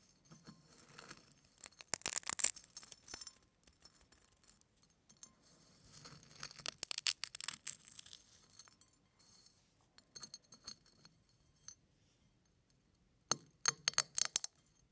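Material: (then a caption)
Eggshell. Fingertips pinch and crush a pile of eggshell flakes on a plate, breaking them into crushed eggshell pieces. Bursts of dry, bright, crackling crunches come in several clusters separated by quiet pauses, each crackle dying away instantly with no ring.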